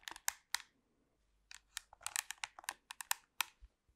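Long pink nails tap and scratch along the body of a black plastic TV remote control held in the hands. Quick, dry, bright clicks and short scraping bursts come in a cluster, pause briefly, then return in a denser run of crisp taps with almost no ring after each one.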